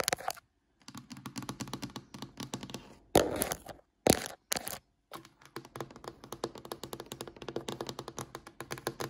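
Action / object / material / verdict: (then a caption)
tap / varnished wooden tabletop / wood / none. Long fingernail tips tap rapidly on a glossy, varnished solid wooden tabletop, making quick, dry clicking bursts with short silent pauses between them. Two louder, fuller knocks stand out near the middle before the fast tapping resumes.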